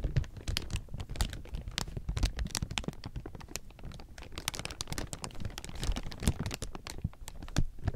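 A large heap of thin, clear plastic sheeting is squeezed and crumpled with the fingers. It makes a dense, continuous crinkle of sharp, bright crackles over a soft low rustle, with short bursts swelling and easing for the whole clip.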